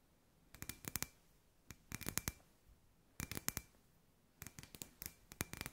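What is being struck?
Hollow glass sphere lamp.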